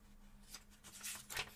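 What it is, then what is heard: Paperback book pages being turned. Fingertips slowly turn the paper pages of a small paperback book held open, rubbing and flipping them, while other books rest untouched on the table. Three soft, bright papery swishes rise and fade quickly over a faint, steady low tone, each page turn a little louder than the last.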